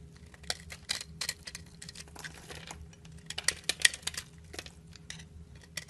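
A metal knife blade shaves and scrapes curls off the surface of a solid yellow bar of soap held in the hand, and the shavings fall away. Quiet, bright scraping is broken by sharp, irregular ticks and crisp clicks over a faint low steady hum.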